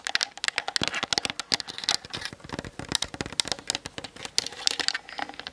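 Long nails tap rapidly on the sides and top of a Canon DSLR with a hollow plastic body. The result is a dense, fast run of dry, bright clicks with almost no low end, and each tap dies away instantly.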